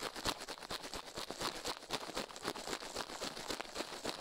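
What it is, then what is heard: Toothbrush bristles brushing a silicone ear microphone. Toothbrush bristles brush quickly over and into a silicone ear microphone, producing a fast run of dry, bright scratching strokes. The strokes come at roughly four per second in an uneven rhythm, each a short hiss with little low end and almost no ring.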